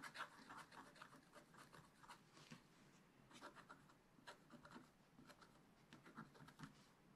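A wooden stylus scratches small spots on a flat, black-coated scratch-art page in a spiral-bound book. The result is a quiet series of short, dry scratching strokes with brief pauses between them, each one a light, crisp rasp centered in the upper midrange.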